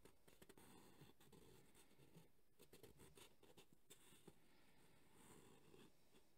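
Thumbnails scratch across the ribbed, textured surface of a black JBL hard EVA speaker carrying case held in both hands. The result is a quiet, steady rasping scratch, weighted toward the low end, broken by small sharp ticks as the nails catch the ribs.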